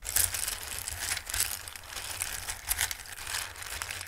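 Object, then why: Small dry pasta pieces in a bowl. A hand with long red nails sweeps, stirs and rubs small, hard, dry multicolored Christmas-shaped pasta in a full dark bowl. This produces a steady, bright rustling and clattering of many tiny pieces, with louder crisp bursts scattered throughout.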